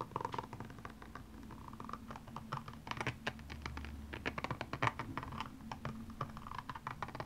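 The pointed tip of a makeup brush handle scratches across the small rhinestones covering a single blue high-heel shoe, which lies hollow and empty on its side. It makes rapid, dense clicking and ticking scrapes with bright edges, over a faint steady low hum.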